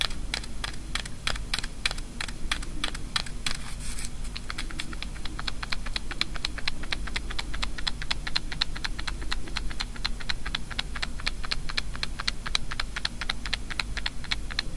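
Long nails rapidly tap one small, light-blue hollow wafer ball, a kamifusen sweet, held in one hand. The result is a fast, steady stream of crisp, bright, dry clicks that stop almost instantly, over a low, constant background hum.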